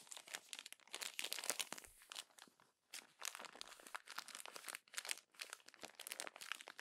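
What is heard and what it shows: Hands with long orange nails grab a page of an open glossy paper magazine lying flat and crumple it. Dense, bright crinkling and crunching rustles come in quick bursts, with brief near-silent pauses around the third and fifth seconds. There is almost no low end and no lingering ring.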